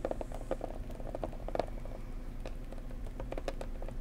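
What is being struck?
Cardboard gift box.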